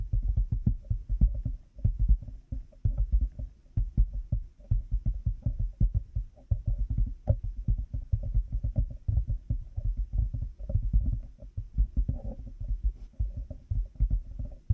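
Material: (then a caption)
Plastic. Fingertips and nails of both hands tap rapidly on a black plastic headphone headband with cat-ear pieces resting on a binaural microphone. The taps come as a dense, uneven stream of short, deep, muffled thumps with almost no ring, and a faint, slightly hollow click sits over the low thudding.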